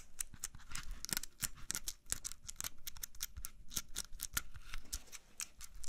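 Fingernails tap quickly on the skin of a whole, solid red-yellow apple held close to the mic. The result is a fast, uneven run of short, dry clicks with bright crisp tops and soft low thuds underneath, with almost no ring after each tap.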